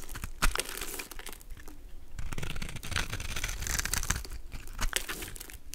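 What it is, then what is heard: Soap bar being carved. A golden utility knife blade scrapes and carves small cubes from a solid, palm-sized blue soap bar with a pre-scored grid, held in the hand. Dry, crumbly crackles and scraping crunches repeat quickly, each with a bright crisp edge over a low rumble and dying off almost at once.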